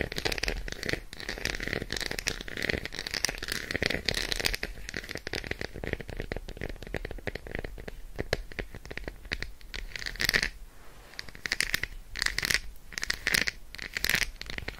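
An unwrapped solid Roshen milk chocolate bar, held upright, is tapped and scratched rapidly with long acrylic nails. The result is a dense stream of short, dry, bright clicks and crinkly scratching, with a louder burst near the ten-second mark, a brief quieter gap, then further clusters of quick taps.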